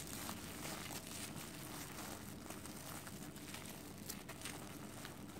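A solid ball of cooked white rice wrapped in clear plastic film is held in both hands and squeezed and pressed with fingertips and long nails. The film gives a steady, quiet crinkling and crackling with bright, sharp ticks over a low hum, as the rice flattens into a disc.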